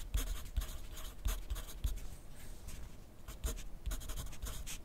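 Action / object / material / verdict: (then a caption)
scrape / graphite pencil on a paper notepad / paper / none. A wooden pencil's graphite tip scratches across a thin lined paper pad lying flat on a desk during writing. Soft, dry strokes come in short bursts with bright scratchy edges and faint low taps, separated by quieter pauses.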